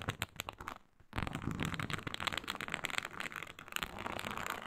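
Long pointed nails of both hands scratch and tap on a flat, iridescent faux snakeskin mat made of embossed reptile-pattern synthetic leather. Quick, separate crackly taps come first, then a brief near-silent pause. A dense, continuous, bright rasping scratch follows and carries on to the end.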